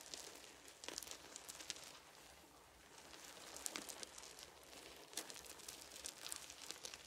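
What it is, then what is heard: Wooden beads. Fingertips of one hand sweep and rake across scattered small, round, solid wooden beads lying on a fuzzy blanket. The result is a quiet, bright, continuous patter of light clicks and soft rolling rattles, with a few sharper clusters of clicks standing out through the clip.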